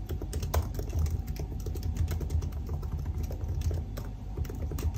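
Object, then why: Aluminium laptop keyboard with plastic keys. Fingertips type steadily on the black plastic keys of a silver aluminium laptop keyboard, producing a continuous stream of quick key taps. The taps are soft and low, with brief thuds and faint bright clicks on top that die away almost at once.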